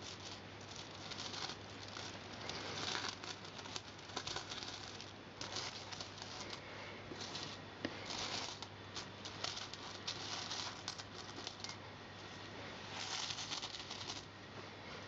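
Fingertips with painted nails slide and shuffle a pile of mixed copper- and silver-coloured British coins, small solid metal discs spread on a purple carpet. The coins rub and clink against each other in quiet, bright, continuous jingling and scraping bursts, over a faint steady low hum.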